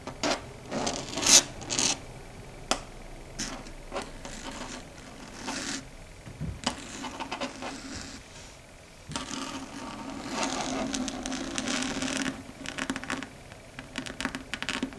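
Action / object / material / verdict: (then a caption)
scrape / chalkboard / slate / none. Long red stiletto nails tap and scratch across a large, flat, dark gray chalkboard. Sharp, bright clicks and dry scraping strokes come in an uneven rhythm, with a few louder taps near the start and a steadier stretch of scratching later on.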